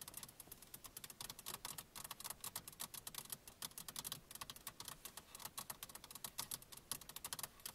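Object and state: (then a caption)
Plastic car radio console. A car centre console radio panel with hollow plastic buttons is tapped rapidly with the long nails and fingertips of both hands. The result is a steady patter of sharp, bright clicks with almost no ring, much like fast typing on a keyboard.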